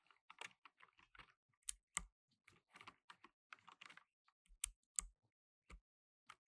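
Fingertips in blue nitrile gloves rapidly press the plastic keycaps of a black plastic tenkeyless mechanical keyboard. The result is bright, dry clicks in irregular bursts with almost no ring, and a few harder strokes add a low thud beneath the click.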